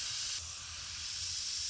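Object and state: Nothing is struck.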